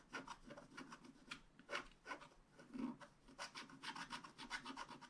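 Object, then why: Scratch-art paper card scraped with a wooden stylus. A wooden stylus scratches rapid strokes into the coating of a thin black-coated scratch-art card lying on a table. The result is a quiet series of dry, bright rasping strokes that rise and fall unevenly.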